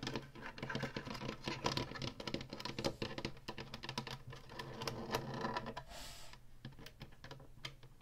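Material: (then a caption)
Plastic. Long fingernails rapidly tap the ribbed top and plastic buttons of a small Atari Flashback 2 game console, a hollow plastic housing with a faux wood-grain panel. The result is a dense run of quick, clicky, dry taps with a brief scratchy hiss near the end, over a steady low hum.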